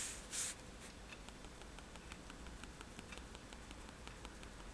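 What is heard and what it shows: A fineliner pen tip is tapped onto a flat sheet of white drawing paper resting on a table to make dots. After a brief, bright hissy burst at the start, quick, light, crisp ticks follow in an uneven, steady stream over a faint low background.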